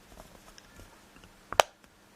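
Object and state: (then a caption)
Metal game box tapped. Fingernails, broken and so giving a softer tap, tap a metallic peg solitaire game box. Faint ticks lead into two quick, bright taps close together near the end, each dying away almost at once, and the result is quite a nice sound.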